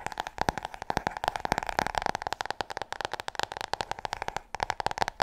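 Long nails tap fast on the cover and edges of a large, solid, glossy hardcover book held in front of the chest. The result is a rapid, irregular run of short, dry clicks, each carrying a hollow tone near 800 Hz with bright edges and almost no low end.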